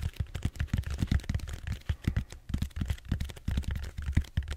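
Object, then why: Bead-foam (styrofoam) roller. Fingertips rapidly tap the surface of a large purple styrofoam bead-foam roller held horizontally. The result is a quick, uneven run of soft, dull, low thumps with almost no brightness, each dying away almost instantly.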